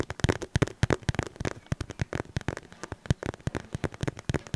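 A cream polka-dot cotton fabric pouch is scratched and squeezed with the fingertips close to the mic. About thirty quick, dry crackly scrapes and soft muffled thumps follow one another over a few seconds, each short and mostly low-pitched.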